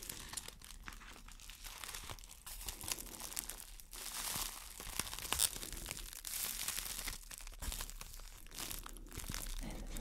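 A clear, thin, empty plastic wrap bag is crumpled and crinkled in hands with long dark nails. A dense, bright crackling runs throughout, with louder surges of crinkling midway and toward the end, over a low, steady background.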